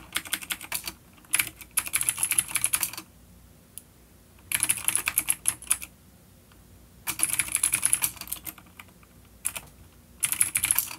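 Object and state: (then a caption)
Vintage clicky mechanical keyboard. Fingertips of both hands type on a full-size dark plastic vintage mechanical keyboard with clicky blue switches and grey keycaps, resting on a wooden desk. Bursts of bright, crisp clicks come in four runs of rapid keystrokes separated by quiet pauses, with a few isolated taps between them.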